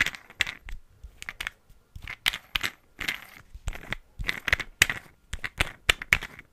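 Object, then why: Small glass perfume bottle with a plastic cap. A small green glass perfume bottle with a black cap, filled with liquid, is held close to a microphone while fingertips and nails tap the cap and the bottle. The result is a quick, irregular run of bright, clicky taps with a glassy ring around 2 kHz.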